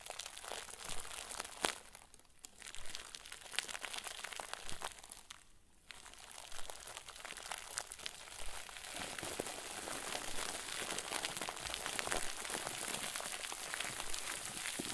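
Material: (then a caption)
Plastic film. A round white plastic bag, stuffed into a crinkle ball and tied, is squeezed and crumpled with both hands. It makes dense, bright crinkling and crackling, with brief quieter dips around 2 and 5.5 seconds. From about 8 seconds on, the crinkling grows steadier and fuller.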